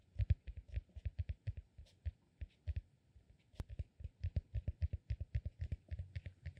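A solid, peanut-shaped cork massage ball is held upright in one hand while the fingernails of the other hand scratch and tap its top. The result is a quiet, steady run of about 38 short, dry, low thuds with faint bright clicks, each dying away almost instantly. One sharper click stands out near the middle.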